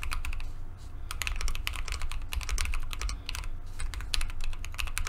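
A Keychron Q2 compact mechanical keyboard with JWK linear switches, a solid dark aluminum case and white and mint plastic keycaps sits on a desk mat while both hands type on it continuously with the fingertips. Rapid, short, bright key-press taps overlap steadily throughout, over a constant low hum.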